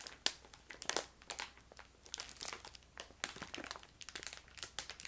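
A filled yellow crinkly plastic bag of ginger candy is crinkled and squeezed with fingertips and long nails while being moved side to side. The result is a dense run of bright, dry crackles and crinkles with sharp peaks that die away almost instantly and very little low end.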